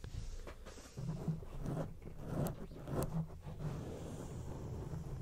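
Long acrylic rainbow nails on both hands scratch a grey, rounded, soft foam windscreen over a studio microphone. The scratching makes a dense, low rumbling rustle with uneven bursts that swell and fade throughout.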